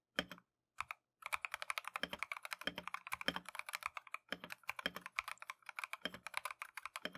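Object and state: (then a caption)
Mechanical keyboard with plastic keycaps. Gloved fingertips type continuously on a compact Keychron V1 mechanical keyboard with Tangerine switches and green and white plastic Matcha keycaps. After a couple of brief starts and pauses, a rapid, steady stream of crisp, bright clacks follows, each key strike short and dry with almost no ring.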